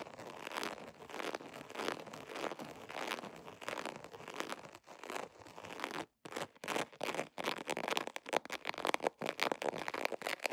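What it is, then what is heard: Vinyl zipper pouch scratched. Fingernails scratch and rub across the surface of an embossed holographic vinyl zipper pouch. The first six seconds are a dense, steady crinkly rasp that is mostly midrange with a bright edge and almost no low end. After a brief silence, the sound breaks into quicker, choppier scratching bursts that grow a little louder.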